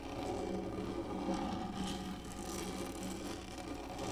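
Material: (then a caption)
Plastic. Long nails of both hands scratch and drag lightly across the top of a large, black, textured, hollow-molded plastic lap tray. The result is a steady, soft, raspy scraping with a low hollow body that stays even for the whole clip.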